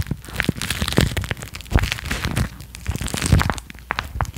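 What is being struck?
Thin clear plastic wrapper.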